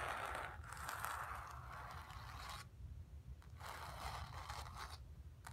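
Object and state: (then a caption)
Painted cotton canvas scratched with fingernails. Long pink nails scratch across the painted surface of a stretched cotton canvas in two long, dry, rasping passes separated by a short pause. The scraping has a bright, papery texture centered around 1.3 kHz, with a steady low rumble underneath.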